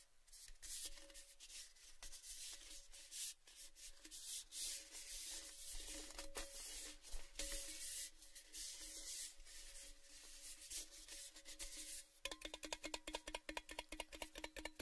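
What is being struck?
Painted hollow metal tin.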